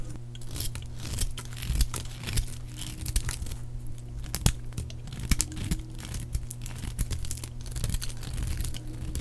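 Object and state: Dry soap bar being shaved.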